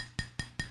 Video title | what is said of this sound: Question & Answer #140: from Burmese Kick Boxing to Tellers of Ugly Truths | You can tap it. You hear the clank.